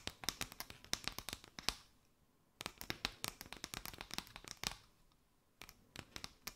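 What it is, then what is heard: Paper straw mat. Long nails scratch and tap a mat of chevron paper straws draped over a microphone. The result is quick, crisp, bright clicks and scratchy rustles that stop dead, played in three bursts separated by brief near-silent pauses.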